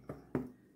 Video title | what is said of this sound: Traditional Irish Soda Bread Recipe - Brown Bread - Crafty in the Kitchen | the bread has completely cooled still getting that sound that solid sound